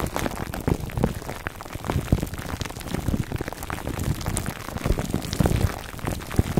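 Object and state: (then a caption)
Plastic-wrapped foam microphone cover. A foam microphone cover wrapped in clear plastic film is scratched on both sides by fingertips and short nails. The result is a dense, continuous crinkling and scratching that sits mostly in the low end, with many quick, sharp transients and little brightness.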